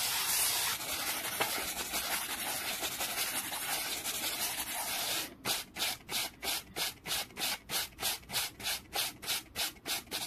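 A black-bristled brush is swept quickly back and forth over a small solid wooden board resting on a towel. The first five seconds are a continuous, bright, hissing scrub; then it breaks into about 17 distinct, evenly paced rasping strokes until the end.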